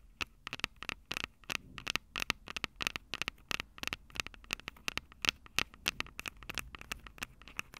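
Long acrylic nails tap rapidly on the capsules of a Tascam DR-05 handheld recorder, a plastic body with metal mic grilles. The result is a steady run of sharp, dry clicks with a bright, crackly tone centered near 2.7 kHz. Each click dies away almost instantly, with very little low end.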